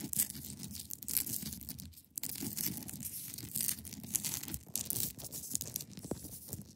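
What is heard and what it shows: Long pointed nails scratch across the top and sides of a large, solid, clear ice block resting on a fabric surface. The result is a dense, bright, raspy scraping with a low rumbling undertone, broken by brief lulls and scattered sharp clicks.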